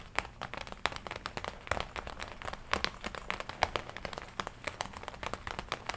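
Fingertips and long nails tap and scratch the red leather front panel of a worn black and red leather biker jacket. The result is a quiet, steady stream of sharp, dry clicks and bright, crinkly scratching, each tap dying away almost instantly with no ring.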